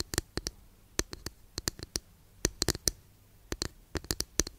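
Long nails tap a long, flat, thin, solid wooden incense holder in quick irregular clusters. Each tap is a dry, sharp click with a bright top and almost no ring, over a quiet background hum.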